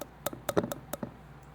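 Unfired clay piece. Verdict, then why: Bone dry. A bone-dry, unfired clay piece, the same clay as a bisque-fired piece, is tapped in a quick series of light taps for comparison. Each tap gives a short, dull click that dies away almost at once, sounding flat next to the more ringing bisque-fired piece.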